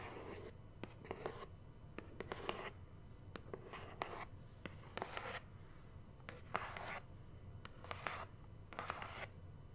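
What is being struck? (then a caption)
Large cardboard box. Long nails tap and scratch the face and edge of a large, hollow black cardboard subscription box held close to the mic. Quiet, sharp taps are interspersed with short bursts of dry, bright scratching, all over a faint low hum.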